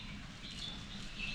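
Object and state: Nothing is struck.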